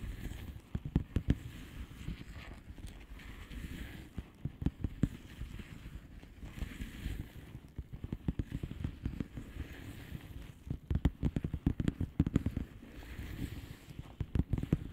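Long polished fingernails of both hands tap a flat blue plastic bubble wrap envelope. A steady stream of quick, dull tapping fills the whole clip, with soft low thuds and short crisp clicks that die away almost instantly. Denser bursts of taps come and go.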